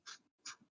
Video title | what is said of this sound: EP.1 How To De monetize a Podcast | when you shake it you can hear like something rattling inside of it